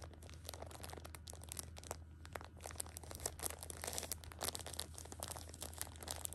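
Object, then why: Pocket tissue packs in thin plastic film wrap. A Shopkins six-pack of hand-sized pocket tissues, wrapped in thin crinkly plastic film and full of soft tissue packs, is pressed, scratched and crinkled by long pink-painted nails and fingertips. Quick, dense, bright crackles and crinkles run through the whole clip over a steady low hum.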